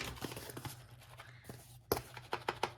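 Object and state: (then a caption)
Necklace loose inside a small box. A small box holding a necklace wrapped in tissue paper is shaken as a shake test, giving a quick series of light rattling clicks and taps as the necklace shifts inside. The movement shows it is not packed securely, so it needs to be wrapped again with extra tissue paper.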